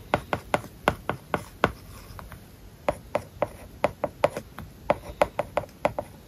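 A plastic stylus taps and scratches across an iPad's glass screen covered with a matte plastic paper-like film while writing Japanese characters. About two dozen short, crisp, mid-pitched ticks come in quick bursts, with a brief softer scratchy lull in the middle, over a quiet background.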